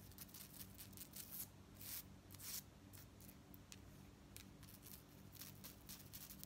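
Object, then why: Metal chain fringe necklace. Fingernails rake through and jiggle the long metal chain fringe of a beaded gold-tone metal necklace held up by hand. This makes quick, bright metallic jingles and scratchy rattles in uneven bursts, with the loudest swishes near the start. A faint, steady low hum runs underneath.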